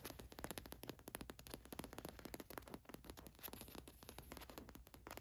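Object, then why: Printed cotton t-shirt. Long nails scratch and tap across a gold watch print on a black cotton t-shirt. The result is a dense run of quick, dry scratching and ticking strokes with a bright edge and a soft low rumble underneath.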